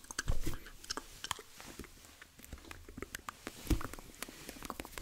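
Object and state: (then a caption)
Rubber squishy stress ball. A hand-sized, soft, multicolored rubber squishy stress ball in yellow, pink and purple is held in both hands while fingertips and nails tap, scratch and squeeze its surface. Quiet, close, dull low thumps mix with bright scratchy ticks and clicks, with a louder squeeze early on and another near the end.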